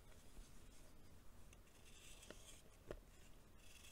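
A green-bladed knife shaves the surface of a small, solid lump of compacted baking soda held in the palm. The result is a quiet, steady scraping with soft gritty rasps over a low rumble, plus a couple of sharper crisp scrapes near the end.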